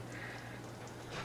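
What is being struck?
Nothing is struck.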